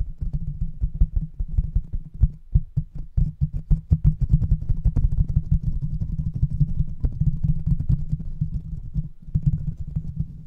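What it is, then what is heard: Metal microphone mesh grille. The hollow metal mesh grille of a large silver microphone, with no cover, is tapped rapidly with the fingertips of both hands. The result is a dense, continuous stream of quick, deep thumps with a low hum around 148 Hz, each tap dying away almost instantly, with faint brighter ticks above.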